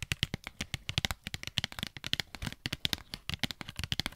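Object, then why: Cardboard and plastic blister pack. A Pritt Patafix package, a cardboard and plastic blister pack, is held up to the mic and tapped rapidly with long nails. About thirty quick, bright, crisp clicks and light plasticky taps come in an uneven stream, each dying away at once with no ring.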